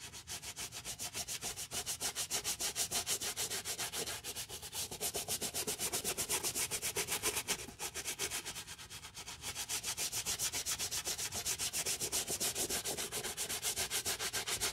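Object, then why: Rubber sneaker sole. A wooden-handled bristle brush scrubs back and forth over the solid rubber outsole and white rubber midsole of one Dior canvas low-top sneaker, which is wet with soap foam and held in a gloved hand. The result is a steady, fast, bright rasping of bristles with a slightly wet hiss, dipping briefly in the middle before resuming.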